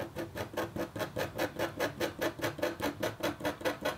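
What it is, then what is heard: Copper scratch art board being scratched. A metal-tipped stylus scratches a thin, solid, flat black-coated copper foil scratch art board. About 20 short, evenly spaced scratching strokes follow each other steadily, each a bright, hissy rasp over a mid-pitched scraping tone.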